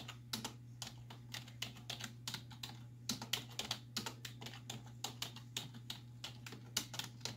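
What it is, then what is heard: Plastic computer keyboard being typed on. Long nails and fingertips type rapidly on the hollow keys of a black plastic computer keyboard resting on a wooden desk. The result is a quick, uneven stream of sharp, bright clicks and taps, each dying away almost instantly. A steady low hum runs underneath throughout.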